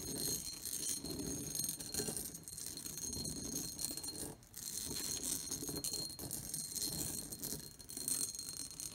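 Long painted nails tap and scratch across the textured pattern and rim of an empty, medium-sized, shallow pressed/cut glass bowl sitting on a wooden table. The result is a dense, steady stream of bright clicks and rattly scraping with a faint high glassy ring, briefly dropping quiet just before the midpoint.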